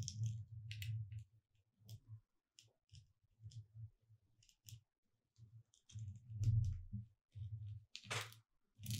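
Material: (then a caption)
Foam. Long red nails tap and scratch across the word "Merry" on a thin, solid gold glitter-coated foam "Merry Christmas" cutout sign lying on a dark cloth, while the other hand rests still. Quiet, dull taps with a low thump sit under sparse bright scratchy crackles, coming in short irregular bursts separated by brief silences.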